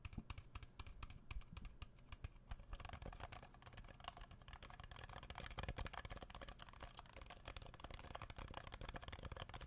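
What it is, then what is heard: Plastic party cup tapped with fingertips. An empty red Solo-style plastic party cup, hollow with thin ribbed walls, is held on its side in one hand near the microphone and tapped with the fingertips of the other hand. Quick, soft, continuous tapping runs throughout, with short hollow low thumps and light bright clicks that fade almost at once.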